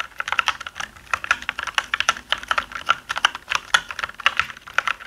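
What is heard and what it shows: Both hands type with their fingertips on a black mechanical keyboard with plastic keycaps, producing a dense, steady stream of short key clicks. Each click is crisp and bright, with most energy around 1.4 kHz and almost nothing in the low end, and it dies away almost instantly.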